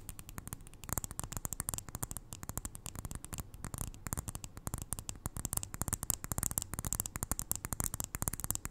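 Long nails tap rapidly on the sides of a small glass jar filled with white granules, held close to the ear. It makes a steady run of short, dry clicks with no ring, each with a low thud under a bright, crisp top.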